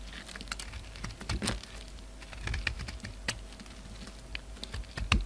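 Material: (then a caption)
Soap. A utility knife blade shaves crumbly chunks off a solid black bar soap with white showing underneath, held in the hand. Soft, dry scraping and crackling runs through the clip, broken by sharp, bright clicks and snaps as pieces break away, a few louder ones near the start, middle and end.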